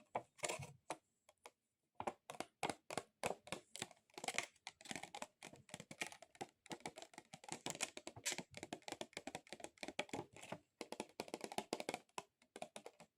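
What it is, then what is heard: Plastic item tapped with long nails. A plastic object is tapped rapidly with long acrylic nails, producing fast, sharp, clicky taps that sound like typing on a keyboard. The tapping comes in dense bursts with brief pauses, with no voice.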